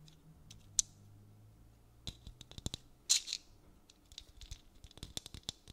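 Fingernails tap and scratch a painted, hollow dried gourd maraca in a beaded string net. Quiet, sharp, bright clicks and brief scratchy bursts come in an irregular, scattered series, each dying away almost at once.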